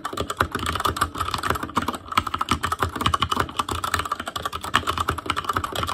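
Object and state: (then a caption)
Plastic mechanical keyboard. Fingertips of both hands type rapidly on a full-size ASUS ROG Claymore Core mechanical keyboard with plastic keycaps on Cherry MX Red switches, a metal plate, a hollow case and RGB backlight. A dense, steady stream of short plastic key taps is heard, each clack dying away almost instantly, with a bright, clicky ring around 1.1 kHz over a soft, low bottoming-out thud.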